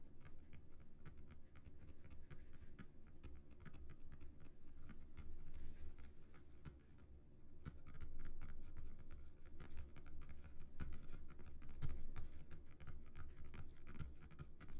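Fingertips of both hands scratch and tap across the raised relief of a flat, solid, embossed cardboard Earth disc lying on a table. The result is a quiet, continuous patter of rapid, irregular scratches and soft taps that are dull and low-heavy, with little ring. It briefly dips near the middle and then grows slightly louder.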